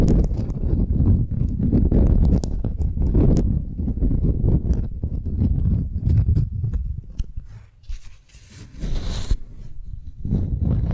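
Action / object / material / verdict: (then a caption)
scrape / beeswax-coated cotton wrap sheet / waxed cotton / none. A thin beeswax-coated cotton sheet is held upright while long nails scratch it and fingers grip the waxy fabric. This makes a steady, dense crinkling and rustling that is heavy in the low end. Near the end it briefly drops quieter with a faint high hiss before the rustling picks back up.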